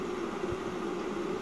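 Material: Nothing is struck.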